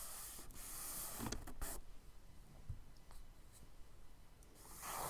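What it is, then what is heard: Kraft paper sketchbook page. A palm and fingers rub across a tan kraft paper sketchbook page with a soft, broad brushing hiss. A charcoal stick then scratches short hatching strokes as quick, dry ticks over a quiet, low background, and a final swell of rubbing closes the clip.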